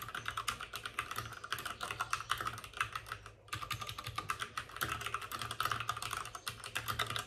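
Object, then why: Plastic mechanical computer keyboard. Both hands type rapidly with their fingertips on the plastic keycaps of a white plastic backlit RGB mechanical computer keyboard, which sits on a desk with a padded wrist rest. A dense stream of sharp, bright clicks and clacks is heard, with short decays and a clear tone around 1.2 kHz. There is a brief pause in the typing just past the midpoint.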